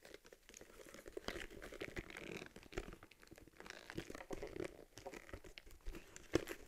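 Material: Leather.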